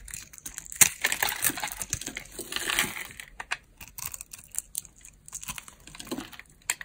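A metal blade scrapes small cubes off a dry green solid soap bar, pre-scored into cubes and held in the hand. A rapid series of crisp, bright crunches and crackles is heard, densest in the first three seconds and then thinning into sparser snaps. The sound is mostly high and dry, with almost no low end and each crunch stopping instantly.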